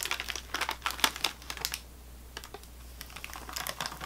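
Long nails tap and scratch an unopened sleeve of saltine crackers in thin plastic or waxed wrap lying on a table. Quick, bright, crinkly clicks and scratches come in busy bursts, then pause briefly near the middle before resuming. A faint steady low hum sits underneath.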